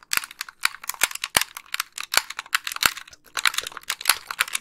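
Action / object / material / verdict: tap / plastic game controller / plastic / none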